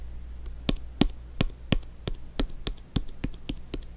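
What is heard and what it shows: Fingers tap an inflated soccer ball in a steady but uneven patter of short, dull thumps with a light crisp tick on top. Each tap dies away almost at once over a faint, constant low hum.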